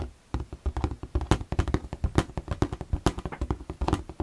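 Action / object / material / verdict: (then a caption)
tap / clear plastic storage box / plastic / none. Fingertips tap the transparent side walls of an empty, hollow, clear plastic storage box held up in the air. A rapid, irregular series of short, dry taps follows after a brief quiet start, each a dull, low hollow knock that stops almost instantly.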